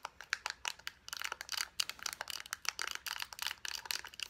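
Long nails tap quickly on the white flat cap end and plastic body of a small lotion squeeze tube. The result is a rapid run of crisp, bright, high-pitched clicks with no low end and almost no ring.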